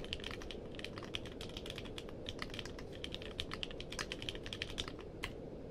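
Fingertips type quickly on a compact mechanical keyboard with a purple case and plastic keycaps. Short, bright clacks come in a rapid, uneven stream over a steady low background rumble. Each keystroke stops almost at once.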